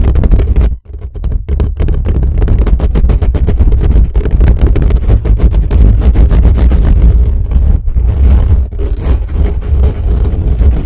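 Fingertips rapidly scratch and tap around the dome of a desktop microphone's black metal mesh grille. The result is a dense, booming low rumble of scraping and thumping, with a brief drop near the start before the fast, aggressive scratching continues steadily.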